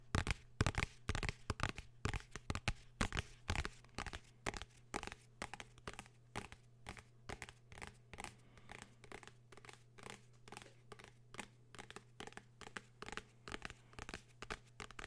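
A blue hardcover notebook is held flat in both hands while fingertips and nails scratch and tap its cover. The result is a fast, uneven run of short, dry, crisp taps and scratchy strokes with a bright edge, louder at first and then softer. A steady low hum sits underneath.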